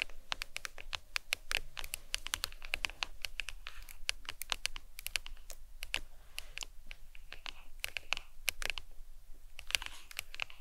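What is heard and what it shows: Long acrylic nails tap quickly on the back of a smartphone in a glossy leopard-print hard plastic case resting on a towel. The result is a rapid, uneven run of dozens of short, dry, bright clicks centered around 2.7 kHz, with no ring after each tap and a faint low hum underneath.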